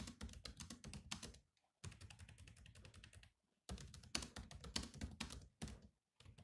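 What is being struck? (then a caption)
Plastic laptop keyboard keys. Fingertips type on the black plastic keys of a grey laptop, producing quick, clicky taps with soft low thuds beneath bright key clatter. The typing comes in short bursts separated by brief silent pauses, and each keystroke stops almost at once.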